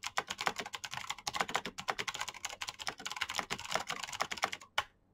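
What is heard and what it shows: Both hands type fast with their fingertips on a black plastic backlit mechanical keyboard with clicky switches. A rapid, uneven stream of bright, sharp clicks stops almost instantly between strokes. The run ends with one louder stroke and then falls quiet.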